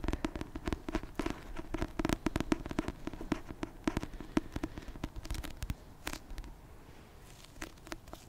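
A finger repeatedly taps on a paperback copy of the Christmas rom-com book "A Merry Little Meet Cute." The taps are quick, short and dry, with a low, papery body, sometimes landing in fast bursts. They grow sparser and quieter toward the end.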